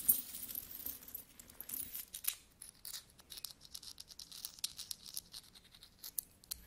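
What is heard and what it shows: Fingertips pick small solid metal coins out of a mixed pile resting on a carpet, hold them in the palm and rub them together. Quiet, bright clinks and jingling taps come in quick, scattered bursts, with soft scraping and rustling between them. Each sound fades almost at once.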